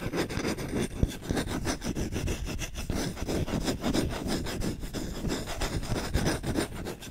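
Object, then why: Wooden spoon. A medium-size solid wooden spoon, held close to the mic, has its bowl and handle scratched fast with short nails and fingertips in a rough scratching and rubbing action. The result is a dense, continuous stream of short, gritty rasping strokes with a heavy low-end body and little brightness, holding steady throughout.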